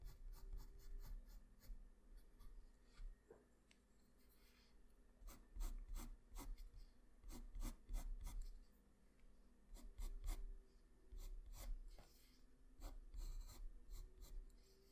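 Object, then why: Graphite pencil on drawing paper. A graphite pencil scratches and rubs strokes onto a flat sheet of white drawing paper, shading the neck and shoulder of a drawing. Quiet, dry scratching comes in short clusters of quick strokes, each with a bright, crisp edge, separated by brief pauses and a soft low rumble underneath.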